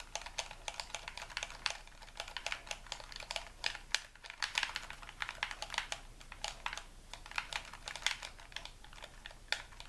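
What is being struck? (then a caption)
Plastic game controller. A white hollow plastic game controller is held in both hands while thumbs and fingertips repeatedly click its buttons and tap its shell. Rapid, crisp, bright plastic clicks and taps come in a steady, uneven stream, each dying away almost instantly, with little low-end weight.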